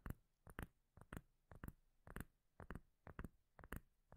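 A solid, palm-sized round cork lid is held near the mic and tapped and scratched with long nails. Sixteen short, deep, dull thuds land mostly in quick pairs at an uneven pace, with a brief bright click on each tap and almost no ring after.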